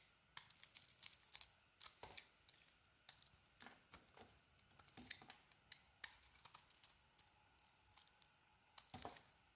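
A utility knife blade carves curls off a solid pink bar of soap with a purple edge. The cuts are quiet, bright, crisp scraping and shaving strokes, coming in a rapid irregular series of short bursts with brief pauses between them.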